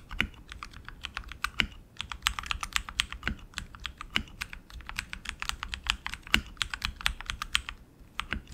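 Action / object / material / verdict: tap / mechanical keyboard with plastic keycaps on an aluminium frame / plastic / none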